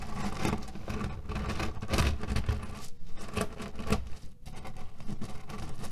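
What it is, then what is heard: Cotton pillow filled with cherry pits. Fingernails scratch and tap quickly on a cotton canvas pillow filled with cherry pits. The result is a dense, continuous rustling crunch of shifting pits with soft, dull taps, weighted toward low frequencies with little bright content.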